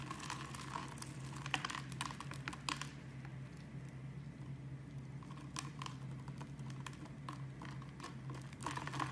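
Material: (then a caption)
Soap. A utility knife blade scrapes grid-cut cubes and shavings off a solid brown bar of soap held in the hand. Bursts of dry, crisp crackling and scraping come in uneven clusters, fading to a quieter stretch in the middle, over a steady low hum.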